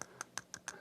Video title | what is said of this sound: Live @ Five with Tim Pre-Christmas Stream | If I tap it on my teeth, that's definitely a metal gear there.